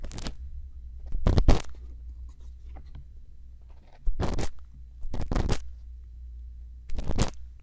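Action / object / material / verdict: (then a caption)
scrape / silicone microphone ear scraped with a bamboo pick / silicone / none. A thin bamboo earpick scrapes inside the canal of a silicone ear on a binaural microphone while a hand holds the mic. Short bursts of close, crackly scratching and crunching rise up into the highs, separated by quiet stretches. A steady low hum runs underneath throughout.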